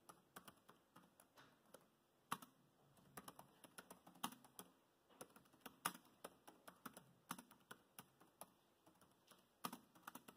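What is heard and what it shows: Both hands type continuously with their fingertips on the plastic chiclet keyboard built into the solid body of a dark grey laptop. About 33 quiet, dry, clicky taps come in an uneven rhythm, with a few louder knocks among the soft presses. Each tap dies away almost instantly and carries little low end.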